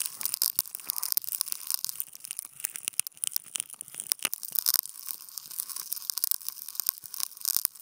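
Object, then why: Non-woven fabric sheet and wooden toothpicks. Wooden toothpicks held in clip contact mics poke and scratch a flat white non-woven fabric sheet. The result is a dense, dry, high-pitched scratching and crackling texture with many sharp, tiny clicks and tearing-like scrapes, almost no low end, and no ring after each contact.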